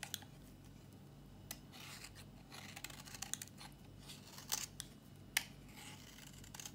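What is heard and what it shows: A solid, dry pink soap bar held in the hand is shaved with a metal utility blade into curls. The sound is a quiet series of crisp, bright scraping strokes with sharp clicks. Between the strokes sits a faint low hum.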